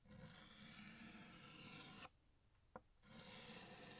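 A blue chalk stick held in the fingers rubs and scrapes across a large, flat, solid black chalkboard while drawing a second balloon. A bright, raspy scraping stroke runs for about two seconds, then stops for a near-silent pause broken by one small tick. The stroke resumes and scrapes on to the end.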